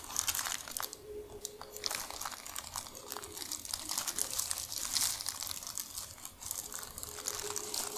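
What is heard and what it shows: Long nails scratch and tap across a large, thin, crinkled sheet of tissue paper spread flat. Dense, bright crinkling and fine crackles run steadily throughout, with quick taps and a faint low tone drifting in and out underneath.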